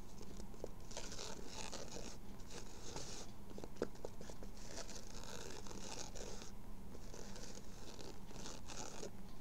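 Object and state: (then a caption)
Fabric baseball cap. A dark grey World Series baseball cap with raised embroidery and a hollow crown is held in the hands while fingertips and nails rub and scratch the fabric and the embroidery. The result is a steady stream of soft, dry scratching and brushing in bursts, with a constant low rumble underneath and airy, bright rasps on top.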